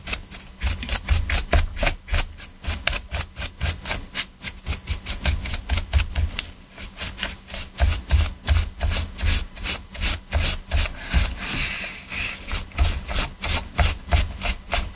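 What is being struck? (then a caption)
Hard plastic game controller. Gloved hands scrub a stiff-bristled detailing brush around the face buttons and sticks of a black PS4 controller with a hollow hard plastic shell. Rapid, uneven back-and-forth strokes make bright, scratchy bristle rasps over a dull, hollow low thump from the plastic body.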